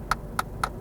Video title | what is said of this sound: Kia Cee'd Sportswagon review - Auto Express | it's a bit cheap I'd like to see a slightly better quality plastic around the glove box